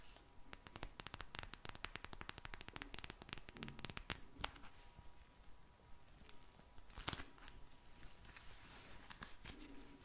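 A small pink vinyl eye mask, soft and full of glittery gel beads, is held in the hands and tapped and squeezed with long blue nails. Dense, rapid, crackly clicks and crinkling taps fill the first few seconds, then thin into quieter squishing with a sharp burst of clicks midway.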